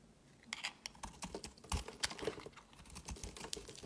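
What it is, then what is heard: Bar of soap being carved. A knife blade carves chunks off a solid white soap bar held in the hand. The result is a quiet, quick series of short, crisp scraping and cutting clicks with a bright, high edge and no ring after each stroke.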